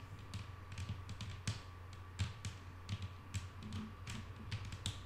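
Long painted nails of both hands tap on a flat, solid wooden tabletop. Quiet, short, irregular clicks with bright tops and a soft low knock die away almost instantly. A steady low hum near 100 Hz and a faint tone around 1.1 kHz run underneath.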